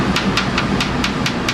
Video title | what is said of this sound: gingerbread demo-na keiki o ka aina part 2 | you should be able to knock on it tap on it and makes that sound